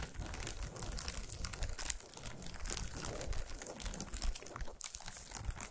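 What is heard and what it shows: Long nails scratch and tap quickly on a solid chocolate bar wrapped in shiny aluminum foil and resting on a towel. The result is a dense, continuous stream of crinkly foil scratches and bright, sharp clicks over a soft low rumble.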